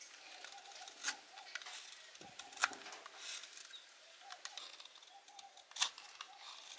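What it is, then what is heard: Laundry soap bar being carved. A small metal blade with a blue handle carves a solid blue laundry soap bar held in the palm, with repeated scraping strokes curling off soap shavings. Soft, bright, dry scrapes run through the clip, with a few sharper crisp cuts standing out above the quiet hiss.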